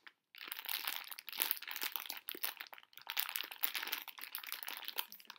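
A Brach's plastic bag full of small hard conversation heart candies is held in both hands, crinkled and shifted so the candies rattle inside while fingertips scratch the bag. After a brief silent start, a dense, bright crinkling with quick rattling clicks runs continuously, with almost no low end.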